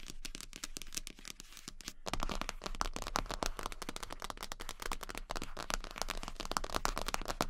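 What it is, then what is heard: Vinyl rubber duck tapped with nails. Long pink acrylic nails tap very fast on the head of a large, yellow, hollow vinyl rubber duck. The result is a dense, continuous stream of sharp, bright clicks, each carrying a short hollow ring around 1.1 kHz. The tapping is softer for the first two seconds, then grows louder and fuller for the rest of the clip.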